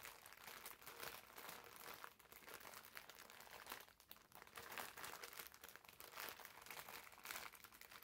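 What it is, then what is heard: Plastic-wrapped foam bath sponge. Fingers scratch and squeeze the clear plastic film wrapped around a green foam bath sponge, producing a continuous, bright crinkling and crunching texture. The sound is dense and mostly high-pitched with very little low end, swelling and dipping in loudness over about eight seconds.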